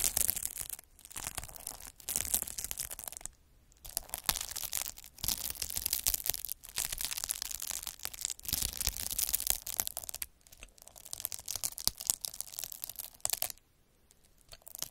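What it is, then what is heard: Plastic bubble wrap scraped with a needle roller. A metal-needle derma roller, held by the fingertips, is rolled over a large clear sheet of plastic bubble wrap with air-filled bubbles. It makes dense, bright, scratchy crackling in repeated bursts, separated by brief silent pauses, with a longer quiet gap near the end.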